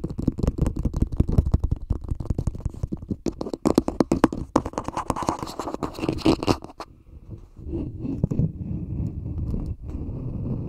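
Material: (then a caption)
Plastic. A small, hollow, empty green plastic cup sits upside down over a microphone and is tapped and scratched with fingertips and nails. Rapid, dull, hollow taps dominate the first seven seconds, then give way to a steadier, muffled scratching and rubbing. The sound is low and boomy, with almost no high end.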